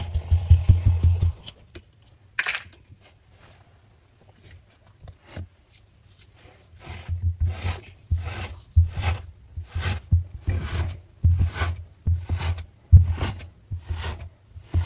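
A flat spatula of plastic or wood is pressed down and dragged through a solid slab of green kinetic sand with cup-shaped impressions on a white table, cutting it into strips. Each cut gives a deep, muffled, rumbling crunch with a brief gritty, bright crackle, in repeated bursts separated by near-silent pauses.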